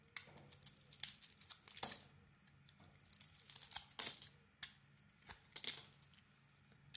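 A metal blade carves strips off the surface of a solid green Isana bar of soap with glitter and a white core, held in the hand. The quiet, crisp scraping and tearing sounds come in repeated bright bursts, with short pauses between the cuts.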